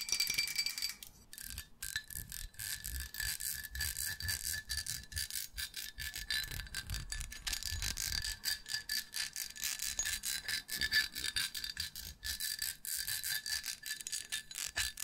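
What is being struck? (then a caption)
Ceramic mug. A medium white ribbed ceramic mug with a handle, hollow and empty, is held up close and tapped and scratched with long nails. Quick, irregular clicks and scrapes overlap a bright, chime-like ring near 1.7 kHz that fades fast.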